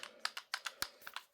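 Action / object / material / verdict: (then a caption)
shake / steel pistol slide and frame / steel / loose. A steel Sig P225 pistol is shaken repeatedly, its loose-fitting slide rattling in a quick series of sharp, dry, bright metallic clicks with almost no ring. The rattle shows a poorly fitted slide on the pistol.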